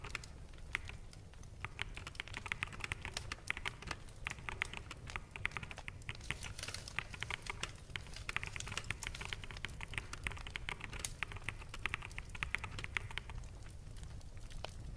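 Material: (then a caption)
Plastic. Rapid typing on a full-size black plastic mechanical keyboard with hollow keycaps, both hands on the keys and fingertips tapping quickly. Dense, bright clicks run steadily for the whole clip, each dying away almost instantly, over a soft low rumble.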